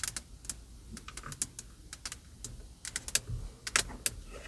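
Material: Plastic.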